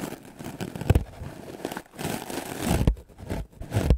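A solid, white, rectangular melamine foam sponge held in the hand is scrubbed fast and vigorously with the black bristles of a wooden clothes brush. The result is a dense, dry, scratchy rustling with crinkly scraping and soft, low, thumping strokes that rise and fall in bursts.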